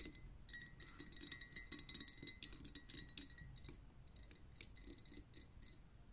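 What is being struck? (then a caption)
Liquid-filled glass lava lamp. Long nails tap quickly on the upper glass of a pink lava lamp, a liquid-filled glass vessel. The result is a quiet, rapid flurry of bright, clicky taps that each carry a faint high glassy ring near 3.9 kHz and die away almost instantly, over a soft low rumble.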